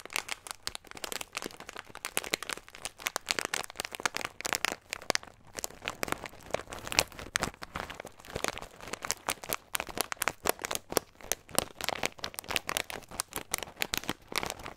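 Fingertips crinkle and rub a small clear plastic bag with a green label, full of nuts. Dense, bright crackling and crunching runs continuously for about fifteen seconds in quick, uneven bursts, with almost no low end.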